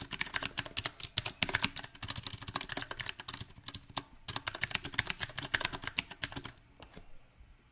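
Fingertips of both hands type on a small 68-key backlit mechanical keyboard with round, typewriter-style plastic keycaps on a silver metal plate. Bright, sharp clicks come in an uneven rhythm with a short pause near the middle. The typing stops at about six and a half seconds, followed by one faint final tap.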